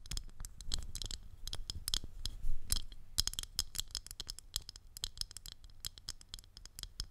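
Long acrylic nails tap and scratch the rim and surface of a thin, clear, round plastic ring, hollow in the centre and held around the top of a microphone. A rapid, irregular stream of sharp, bright clicks and scratchy ticks plays over a soft low rumble, with brief swells where the tapping clusters.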